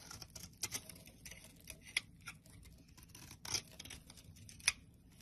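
A black blade scrapes the edge of a rectangular solid white soap bar held in the palm, shaving off chalky flakes. Quiet, bright, crisp scraping and short, sharp ticks come in uneven bursts, with a few louder snaps standing out over a faint low hum.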